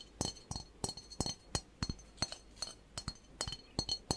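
Fingertips and nails tap a medium, hollow, empty brass singing bowl with an etched pattern, held in the hands close to the microphone. Quick, irregular clinking metallic strikes each carry a bright, thin ring over a faint low thump, and each fades almost at once.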